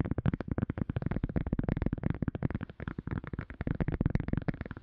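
A silicone cup lid is tapped rapidly and repeatedly, producing a dense stream of short, soft, dull taps. The taps are mostly low in tone, with little brightness and no ringing after each hit.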